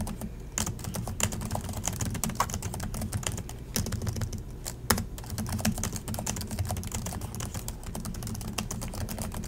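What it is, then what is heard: Plastic laptop keyboard. Both hands type continuously with their fingertips on the plastic chiclet keys of an Acer laptop keyboard. The result is a fast, dense stream of short, sharp clicks and taps over a steady low hum.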